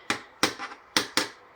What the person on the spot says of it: it kind of sounds like plastic but this thing is like really heavy-duty